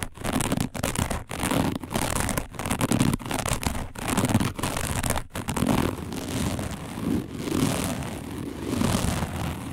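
Long nails of both hands scratch fast across a round, flat, dark woven plastic placemat. The result is a dense, raspy crackling scrape in quick bursts, broken by brief silent gaps, with most of its weight in the low-mid range and little high end.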